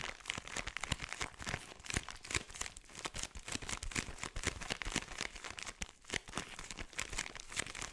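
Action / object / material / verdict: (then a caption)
scrape / plastic bag filled with kinetic sand / plastic / none. A hand-sized clear plastic bag full of purple kinetic sand is squeezed and rubbed with fingertips and thumbs, so the plastic crinkles. Rapid, dense, bright crinkling and crackling runs continuously for the whole clip at a fairly quiet level, with soft, dull low-end bumps from the sand shifting inside.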